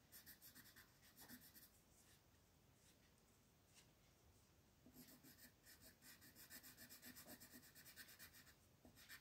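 A green wooden colored pencil is rubbed back and forth across a flat paper coloring page on a table to shade it, with the other hand resting on the page. Quick, rhythmic, bright scratchy strokes come at about four per second, fade to a soft hiss for a few seconds in the middle, then return steadily.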